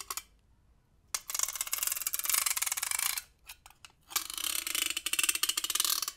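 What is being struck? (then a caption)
Metal güiro (ribbed metal scraper). A large hollow cylindrical metal güiro of ribbed silver metal with conical ends, held diagonally in one hand, is scraped along its ridges with a dark hand-held scraper tool. Long, bright, rasping strokes of rapid metallic clicks follow a short opening scrape, separated by brief pauses and a few quick ticks.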